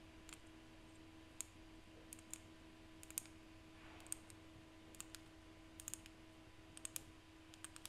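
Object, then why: Seashells. Seashells are tapped by hand, producing about twenty sharp, dry clicking taps spread irregularly across the clip, some in quick pairs. The clicks are bright and high with almost no ring, over a quiet background with a faint steady low hum.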